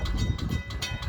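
A first- or second-generation Western Cullen Hayes mechanical bell on a railroad crossing signal mast is shaken by hand to make it ring. It gives about six quick, short metallic strikes with bright upper tones over a heavy low rumble. Shaken this way the bell sounds healthy, though in operation it sounds very flat, as if ticking or dead.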